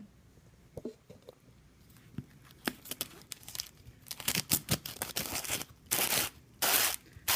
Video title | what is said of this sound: Find Out Friday: Chill Factor Ice Cream Maker | oh you can hear that sugar